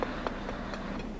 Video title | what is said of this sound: Concrete Bridge Deck Repair | if the concrete below the deck surface is damaged the bar will produce a hollow sound